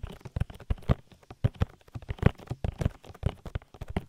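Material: Silicone.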